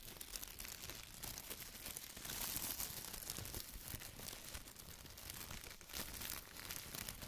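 A large, thin, empty white plastic bag is rubbed with the fingertips, then folded and lifted by hand. It gives off a steady, dense crinkling with bright, hissy highs and soft low rustles, swelling a little louder in places as the bag is handled.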